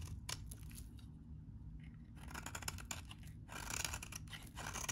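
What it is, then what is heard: Dry bar soap. A metal utility blade scrapes and cuts into the edge of a solid, very dry, beige-tan vintage bar soap held in the hand. Dry, crunchy scraping and crisp slicing come in uneven bursts of bright rasp over a low background rumble, with a quieter pause before the cutting grows denser and louder toward the end.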